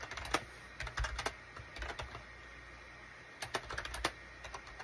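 A full-size wired USB Shipadoo K600 keyboard with a gray plastic case and cream, gray and orange plastic keycaps sits on a desk mat and is typed on rapidly with the fingertips of both hands. Quick, dry plastic key clicks come in two bursts separated by a pause of about a second, each tap sharp and short with a bright clack over a soft low thump.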